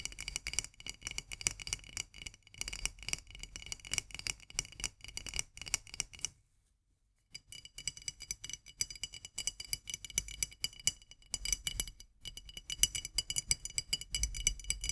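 Long nails tap rapidly on the metal lid of a tilted, full glass jar of marmalade, then on its glass body. The taps are quick, bright, dry clicks with almost no ring, broken by a brief silence of about a second in the middle.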